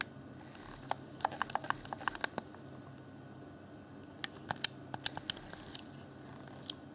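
Fingertips tap the hollow, hand-sized transparent plastic shell of an Xbox One Afterglow controller with LED lighting around its bumpers and face area, and press its buttons. The result is short, dry, bright plastic clicks and taps with almost no ring, coming in two loose bursts separated by a quiet pause, then one last tap near the end, over a faint steady low hum.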